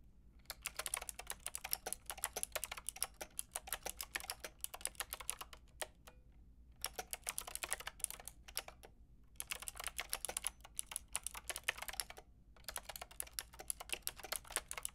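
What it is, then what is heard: Plastic mechanical keyboard being typed on. Fingertips with long red nails type and tap on a Lofree plastic mechanical keyboard with a plastic frame and round keycaps. The result is a quiet, fast stream of sharp, bright clicks that die away almost instantly, broken by short pauses near 6, 9 and 12 seconds, over a faint, steady low hum.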